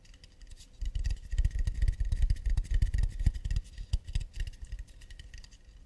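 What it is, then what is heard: Acacia wood plate. Fingers tap and scratch on an acacia wood plate in quick, irregular bursts. Dull, low knocks mix with light scraping, with the activity busiest in the middle of the clip and tapering off toward the end.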